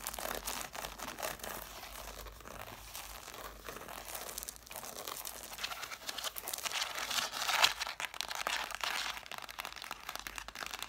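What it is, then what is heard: Stack of cloth-bound hardcover books. Long nails scratch and tap rapidly on the covers and page edges of an angled stack of red cloth-bound hardcover books. The result is a dense, bright, crinkly scratching texture with quick dry taps, and one sharper tap stands out near the middle.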